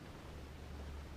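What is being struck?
Nothing is struck.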